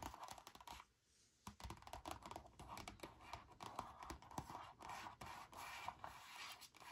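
Long nails and fingertips scratch and rub an empty, frosted plastic reusable leakproof zip bag lying flat. A quiet, dry, crinkly scratching runs in quick uneven strokes centered around 1 kHz, pausing briefly near the one-second mark before continuing steadily.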